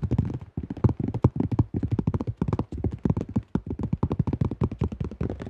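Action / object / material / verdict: tap / thin plastic disc golf disc / plastic / none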